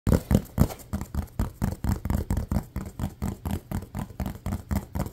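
A small silver-grey toy football with a pebbled surface and a green stripe, apparently hollow rubber or foam, is held in both hands and tapped and scratched quickly with fingertips and nails. About 23 dull, low, muffled thumps come in a fast, uneven run, each dying away almost at once.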